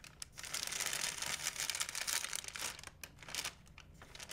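A large, empty white plastic shopping bag is crinkled and flapped by hand. It makes a steady, dense rustle of bright, crackly crinkling with louder bursts and brief dips. The sound is mostly high and hissy with almost no low end.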